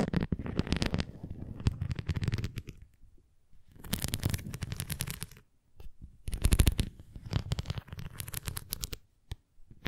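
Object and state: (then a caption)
Plastic flying disc scratched and tapped with nails. A thin red plastic flying disc toy is held edge-on and tilted while long nails scratch and tap along its rim edge and surface. Bursts of close, crackly scratching with quick taps come and go in several clusters separated by brief quiet gaps, with a low, full body and a little bright texture on top.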